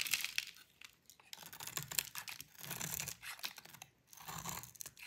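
A utility knife blade scrapes thin orange shreds off a solid orange rectangular bar of dry soap held in the hand. The sound is a series of dry, crisp, bright scraping and crackling strokes with brief pauses between them. It is quiet, with almost no low end and no ring after each stroke.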